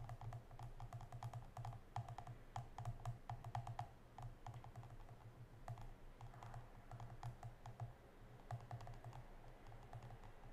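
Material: Plastic.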